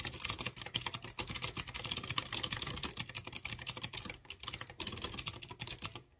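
Fingertips with short dark-painted nails rapidly type on a light blue plastic mechanical keyboard with typewriter-style round chrome-rimmed keycaps over clear-housed blue switches. The result is a dense, steady stream of bright, crisp clicks with a light low thump under each press. The clicks have almost no ring and trail off at the end.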